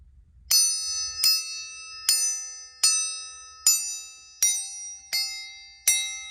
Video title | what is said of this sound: Emergency Tire Traction, Putty Knife Restoration. Antique Equity Tin Shears | Listen, it sounds like glass.